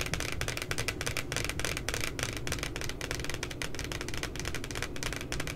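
Fingertips and long nails tap and scratch the printed puppy image on the glossy cardboard cover of a spiral notebook. Quick, dense clicky taps run steadily throughout, with bright scratchy texture over a low rumble.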